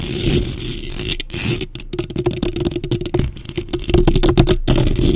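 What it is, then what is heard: Metal mesh microphone grille scratched and tapped. Long pink nails and fingertips scratch and tap the top and sides of a black microphone's hollow metal mesh grille throughout. The result is a fast, irregular run of sharp clicking taps and gritty scraping over a dense, boomy low thud, with each tap dying away almost at once.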